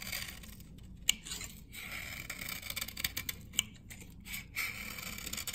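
A metal blade scrapes the edge of a solid amber vintage glycerin soap bar from 1978, dry and held in the hand, curling shavings off the blade. Quiet, bright, dry scraping and crisp crackling fill the clip, with two sharper clicks standing out near the start and middle.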